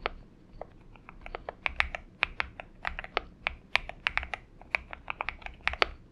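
Both hands type continuously on a purple-backlit Xinmeng M71 70% mechanical keyboard with an aluminum case and PBT keycaps, resting on a desk mat. About 27 crisp, bright keystrokes click and clack in an uneven rhythm, each one dying away almost instantly.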